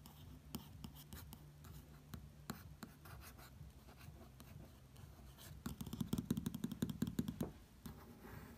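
Fingertips trace and lightly tap across the thin, flat glossy pages of an open print magazine showing Longines watch ads. Soft, low scratchy rubbing is broken by scattered quick taps, then a denser run of brighter, louder taps near the end before the tracing settles again.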